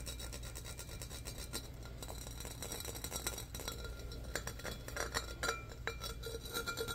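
Fingernails rasp and scratch quickly over the ridged texture of a medium-sized, empty, hollow, clear embossed glass pitcher. It makes a continuous, fast, gritty scratching over a steady low hum, with brighter glassy clicks and short high ringing tones that grow more frequent toward the end.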